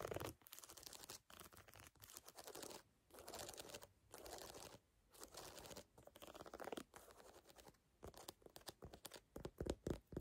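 Fingernails scratch and tap across the lugs of a brown lugged rubber sneaker outsole. Soft, dry scratching comes in bursts separated by short pauses, with a few sharper taps near the end. The overall sound is quiet and textured, spread from low to high frequencies.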